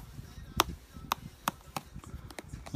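The hard plastic lace eyelet piece on a genuine 2006 Nike Air Jordan 4 Retro LS Mist Blue sneaker is flexed, giving five short, sharp clicks. This single integrated hard-plastic part clicks audibly, while fakes use a soft, rubber-like material to cut costs, so the eyelet alone can tell genuine from fake.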